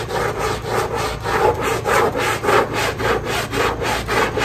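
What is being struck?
Wet fabric pile rug scrubbed with a stiff brush.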